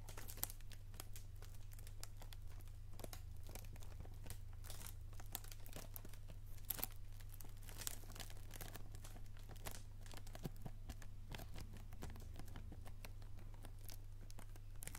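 A hand-sized, hollow PG Tips tea box made of cardboard and wrapped in crinkly plastic film is held in both hands close to the mic. Fingertips and nails handle it, producing a steady stream of soft crinkling of the wrapping mixed with quick light taps and bright clicks. A constant low hum runs underneath.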